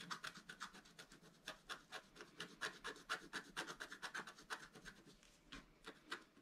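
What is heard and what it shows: A wooden stylus scratches a broad band into the coating of a black-coated scratch-art card lying flat on a table, using repeated strokes. About 29 short, dry, rasping scratches sound in a loose, uneven rhythm of roughly two per second. They are quiet but bright and papery, centered around 1.5 kHz with almost no low end.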